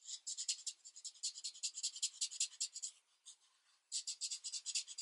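A felt-tip marker is rubbed firmly in repeated strokes over a thin paper coloring book page lying flat on a desk. Quick, soft, hissy scratches sit entirely in the high, bright range with no low end, coming in a fast, uneven rhythm. About three seconds in they briefly thin out and pause before the strokes resume.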